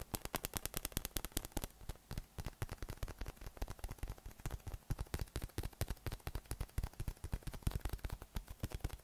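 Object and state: PVC spiky massage ball.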